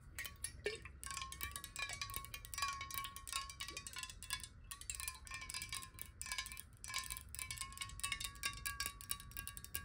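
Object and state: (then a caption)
Glass water bottle tapped with fingernails. Long nails tap rapidly on the side of a clear, hollow glass water bottle that is partly filled with water and held horizontally in both hands. The fast, continuous taps make bright, chime-like clinks over a steady ringing tone near 1.1 kHz.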